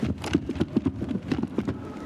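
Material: Cloth.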